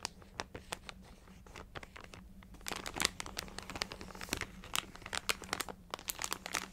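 A full plastic multipack bag of Ritz mini crackers is crinkled and tapped with long nails. Dense, bright crinkling mixes with many sharp, quick clicks and taps that stop almost instantly, growing busier and louder after about 2.7 seconds, over a faint steady low hum.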